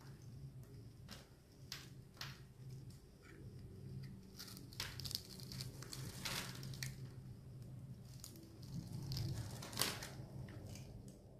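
A hand-sized, solid blue-and-white striped bar of soap is gripped in one hand with red-nailed fingertips while a metal blade scrapes and cuts along its surface, shaving off curls. Irregular, bright scraping and crisp crunching bursts rise and fall over a steady low hum.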